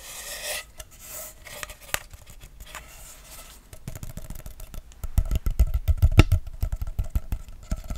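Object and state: Plastic pop tube.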